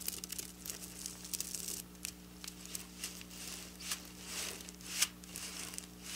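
Long black nails tap and scratch across flat silver sequin fabric, making bright, crisp crinkling and scraping sounds with short clicks. One sharper tap stands out near the end, over a faint low steady hum.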